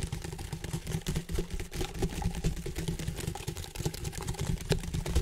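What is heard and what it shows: A large, hollow, empty ribbed white plastic flexible duct hose is held near the mic and tapped and rubbed with fingertips and nails along its ribs. The result is a quick, uneven stream of soft clicks and scratchy rubs over a deep, hollow, booming low end.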